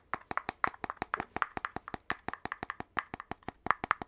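Fingertips tap quickly on the gold-rimmed cap and body of an empty, hollow red poster tube made of paper-covered cardboard with a brown cardboard interior; the cap is also handled and refitted. About 26 dry, hollow taps with a mid-range knock around 1.2 kHz, each dying away almost instantly, come in a steady, uneven rhythm over four seconds.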